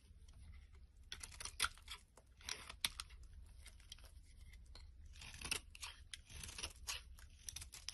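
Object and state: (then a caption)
Bar soap being shaved. A black-handled blade scrapes and shaves a solid rectangular green bar of soap held in the hand, throwing off curled shavings. The result is a run of quiet, bright, crisp scraping and crunching strokes over a faint low hum.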